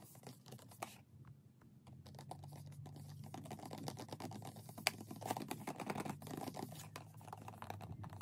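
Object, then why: Cardboard box. Long painted acrylic nails tap and scratch on a closed, white printed Gelish cardboard gel polish box lying flat. Quick, irregular dry clicks blend with a soft, papery scratching rustle, with a brief lull early on and one sharper, louder tap midway. The sound stays quiet and close, and each tap dies away almost instantly.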